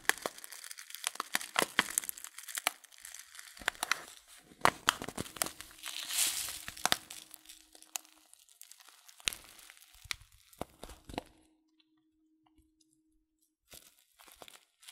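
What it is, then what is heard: Paper tea packet crinkled. A filled paper tea packet of loose leaf, held sideways, is crinkled and squeezed between fingertips, producing dense, bright crinkling with many sharp crackles and a faint steady low hum underneath. The crinkling thins out and falls nearly silent after about 11 seconds, then resumes briefly in a few soft crinkles near the end.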